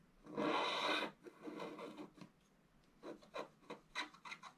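A wooden stylus scratches slowly across a scratch-art paper board near its lower corner, producing dry, raspy strokes with almost no low end. One long, loud scrape is followed by softer drawn-out scratching and then a series of shorter, separate strokes, each with a bright, papery hiss centred around 1.5 kHz.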